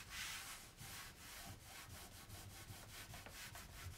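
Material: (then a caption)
Painted wood. A hand wipes a cloth across a solid, white-painted, raised-panel kitchen cabinet door of wood or MDF to clean off dirt. Steady, brushing rubs make a soft, bright hiss with a faint low thump beneath as the strokes run back and forth continuously.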